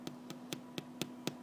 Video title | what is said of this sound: French Bread, French Bread Recipe, French Bread Baking, How to Make French Bread (Part 2) | can you hear that it's hollow